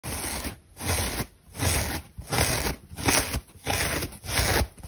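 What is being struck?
Synthetic foam bath sponge.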